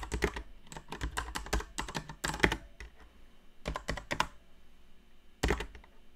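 Long painted nails tap and press the plastic keycaps of a backlit mechanical keyboard, with both hands typing continuously. Bursts of quick, dry clicks and clacks come in irregular runs with brief pauses, each stroke pairing a bright tick with a low thock and dying away almost at once.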